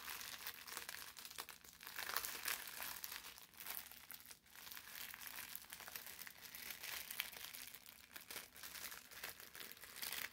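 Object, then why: Thin parchment paper sheet. A folded sheet of thin brown parchment paper is twisted and squeezed between the hands, crumpling and rubbing against itself. Dense, bright crinkles and crackles run continuously for about ten seconds, with almost no low end. The sound swells and dips gently as the paper is worked.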